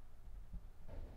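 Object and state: Nothing is struck.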